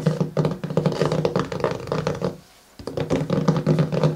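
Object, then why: Cardboard-covered hardcover journal. Fingertips and nails of both hands tap and scratch the matte cardboard cover of a pink, paper-covered hardcover journal lying flat and closed on a table. Quick, soft, low thunks come in dense runs with a brief quiet gap partway through, then resume.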